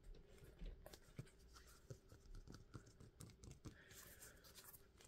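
Fingertips rub and scratch the surface of a thin, flexible, red-topped foam shoe insole held in both hands. The result is a quiet, dull, low-pitched scratching with soft, short tapping bursts that stop almost at once.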